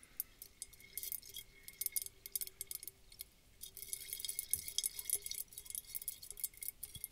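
A round clear glass bulb bottle, partly filled with water and glitter, is held in both hands and tapped with long dark fingernails. Quick, bright, irregular clicks and light clinks come in dense bursts over the clip, each dying away almost at once. A faint steady hum sits underneath.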